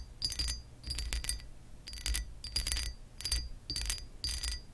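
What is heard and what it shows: Long acrylic nails scratch the raised embossed pattern of a hollow textured glass lamp base. Bright, glassy scratching bursts with a clinking ring come in uneven strokes over a low rumble, each fading quickly.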